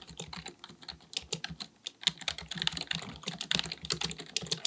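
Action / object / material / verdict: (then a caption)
tap / plastic computer keyboard / plastic / none. Both hands type continuously with their fingertips on a black, full-size, hollow-bodied plastic keyboard on a desk, likely a mechanical one. Rapid, bright, crisp key taps with a soft low thud under each press die away almost instantly, speeding up and getting louder about halfway through. There is no speech.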